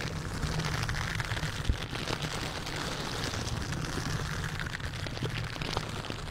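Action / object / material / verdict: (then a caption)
scrape / metal mesh microphone grille / metal mesh / none. A silicone bristle dish glove worn on the hand scratches and rubs the hollow metal mesh grille of a large white condenser microphone in repeated strokes. The result is a dense, continuous rustling scrape with a heavy low rumble beneath and bright crackles on top. It holds steady throughout, with one sharper knock early on.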